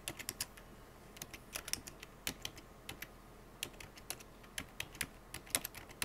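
Fingertips with painted nails type rapidly on a full-size black plastic computer keyboard with hollow keycaps. The result is a quick, uneven run of sharp, bright clicks and clacks, each dying away almost at once over a quiet background. The hand then leaves the keyboard.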